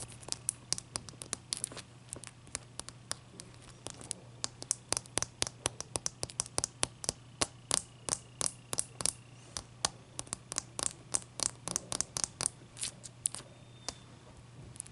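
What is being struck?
Large block of clear ice.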